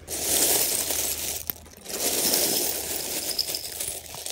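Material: Plastic, metal.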